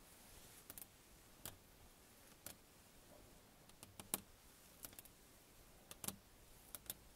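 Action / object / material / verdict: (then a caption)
tap / glass car side window / glass / none. Long fingernails of both hands lightly tap a closed glass side window of a car, a large flat pane. Fourteen quiet, bright, clicky taps come in loose, irregular pairs and clusters, each dying away almost instantly over a soft background hiss.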